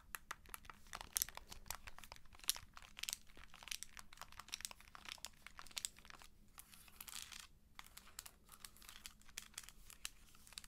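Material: Plastic.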